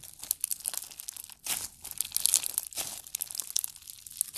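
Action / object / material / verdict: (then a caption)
scrape / green slime with embedded beads / slime, beads / none. Green slime mixed with pearls and blue beads is stretched and pressed with fingertips. It gives a dense run of quiet, bright crinkling, crackling and popping clicks, with fuller bursts of crackle in the middle of the clip.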